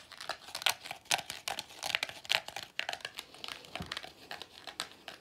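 A small, hollow pleated paper vacuum cleaner filter with a dark end cap is held in both hands while the fingers squeeze and rub it. The result is a quiet, irregular stream of dry, bright crinkling crackles with sharp, quickly fading bursts.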